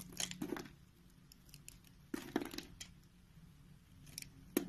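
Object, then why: Bar of soap shaved with a blade. A utility knife blade scrapes and shaves strips off a solid, hand-sized, rounded lilac soap bar held in the palm. The quiet, crisp shaving bursts have a bright, crinkly texture and come in irregular clusters separated by near-silent pauses.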